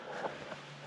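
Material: Nothing is struck.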